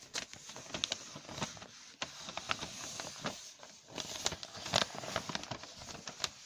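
Fingertips rub, crumple and scratch the pages of a large, thin newsprint newspaper lying open on a surface, turning them over. A steady soft rustle is broken by many sharp, bright crackles and snaps, with the sound sitting mostly in the high range and little low end.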